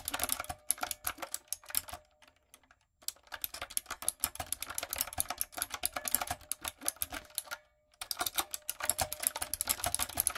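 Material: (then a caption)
Plastic. A backlit, typewriter-style mechanical keyboard with round retro plastic keycaps and a hollow body is typed on with long coffin nails and fingertips. Rapid, bright, clicky keystrokes come in three bursts, separated by brief silences near 2.5 and 7.7 seconds, with a faint steady tone around 600 Hz beneath the typing.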